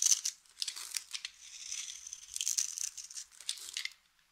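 A utility knife blade cuts scored cubes off the surface of a solid, hand-sized, dry yellow soap bar held in the hand, and the cubes crumble away. The clip is a string of bright, dry crunching and crinkling scrapes with a thin high whistle-like tone running through the middle. It ends in silence after about four seconds.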